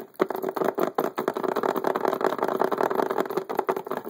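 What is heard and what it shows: A rectangular, transparent hard plastic (acrylic-like) poker chip case, full of poker chips and sitting on a table, is tapped rapidly on its lid and edge with the fingertips and nails of both hands, whose wearer has metal rings on. A fast, continuous patter of short, dry clicks carries a hollow mid-range plastic tone, with almost no low end and each tap dying away almost instantly.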